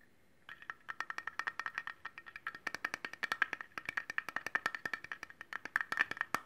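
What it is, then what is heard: Stainless steel cleaver blade. Fingernails quickly tap and scratch the blade of a solid stainless steel cleaver with a metal handle, held up in the air. A rapid series of dozens of short, bright metallic clicks follows, each carrying a faint ringing tone around 1.6 kHz that dies away almost instantly.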